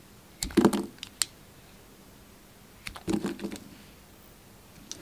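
A solid Palmolive soap bar, carved down mostly to its white core, is held in the hand while a yellow utility knife blade slices and scrapes pieces off it. Two short bursts of crisp, dry cutting and scraping clicks are heard, with a few isolated sharp ticks between and after them, each sound stopping almost instantly against a quiet background.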